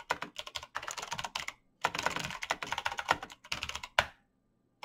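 Fingertips in fingerless knit gloves type fast on a black plastic mechanical gaming keyboard with clicky green switches, backlit keys and a hollow case. Quick bursts of bright, sharp clicks are separated by short pauses. A louder final tap is followed by near silence.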